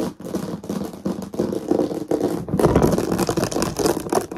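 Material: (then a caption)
Plastic. Long nails tap quickly and irregularly on the lid and sides of a medium, hollow, translucent plastic storage box with a plush toy inside, ending in close-up. The result is a dense stream of hollow, clicky plastic taps with a mid-pitched body and short ring. It grows louder and busier in the second half.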